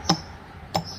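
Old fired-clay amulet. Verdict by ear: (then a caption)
Hard. An old Khun Phaen Chom Talat fired-clay Buddhist amulet, its clay hardened to a stone-like state, is tapped twice. Each tap gives a short, bright click with a brief ring that dies away quickly. The amulet stays undamaged, hard as iron, where a new amulet knocked like this would flake or peel.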